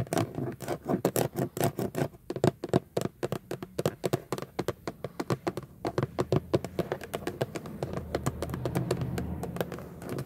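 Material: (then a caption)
Plastic. Long nails and fingertips tap quickly across the raised chrome-plated Jeep emblem and the surrounding hollow, textured plastic/vinyl airbag cover on a Jeep steering wheel center pad. Dozens of short, dry clicks and knocks with a hollow low body land in rapid, uneven runs. Toward the end a soft low rumble swells beneath them.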